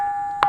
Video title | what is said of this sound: నిర్మల్ గండి రామన్న ఆలయ వింత: సంగీతం పలికించే అద్భుత శిలలు! -Musical Stones In Gandi Ramanna Temple | ఎక్కడ తట్టినా గాని అద్భుతమైనటువంటి శబ్దం వస్తుంది. మనం వేరే రాయిని కొట్టినప్పుడు మనకు ఏ రకమైనటువంటి శబ్దం రాదు.